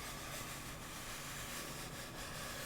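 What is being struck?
Nothing is struck.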